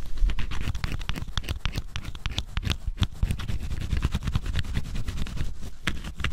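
A small dark tool held in the fingers scrapes the black scratch-off coating on cardboard jigsaw puzzle pieces, leaving flakes. A rapid series of short, dry scratching strokes runs continuously, with a low rumbling body and faint bright crackle on each stroke.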